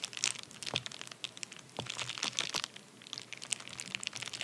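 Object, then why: Padded paper bubble mailer. A medium white padded paper bubble mailer, torn open and lying flat on a towel, is rubbed and pressed with the fingertips and short nails of both hands. It gives a steady run of bright, dry crinkles and sharp crackly ticks at a fairly quiet level. Brief louder bursts stand out from a soft rustling bed, with almost no low end.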